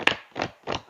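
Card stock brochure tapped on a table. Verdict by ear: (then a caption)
Solid. A brochure printed on heavier weighted card stock is tapped against a table three times, giving short, dry taps with a bright, papery snap. It sounds solid, almost like cardboard, unlike the soft sound of a thin, flimsy glossy brochure.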